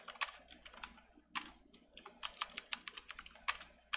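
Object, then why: Plastic mechanical keyboard keys. Both hands type rapidly with their fingertips on a full-size backlit plastic mechanical keyboard with round typewriter-style plastic keycaps, resting on a desk mat. About two dozen bright, crisp tapping and clicking keystrokes arrive in an uneven run, each dying away almost instantly with almost no low end.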